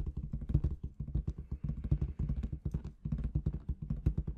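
Long red nails rapidly tap and scratch the surface of a large inflated clear latex balloon with confetti inside. The result is a quick, continuous run of soft, deep, muffled thumps with short, dry decays and a faint scratchy texture.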